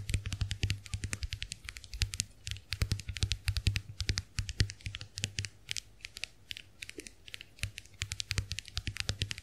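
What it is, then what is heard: Plastic compact hand mirror. Long nails tap on the dotted plastic shells of a small round white plastic clamshell hand mirror held open. The result is a steady run of quick, crisp clicks with bright edges and a low hum underneath.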